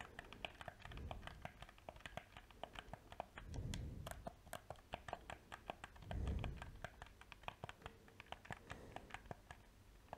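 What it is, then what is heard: Plastic game controller. A small, hollow black plastic PS4 controller is held in both hands while its buttons and sticks are clicked and its shell is tapped with dark-painted fingernails and fingertips. Rapid, dry, typing-like clicks and taps follow one another with almost no ring, and two swells of low rumble are heard underneath.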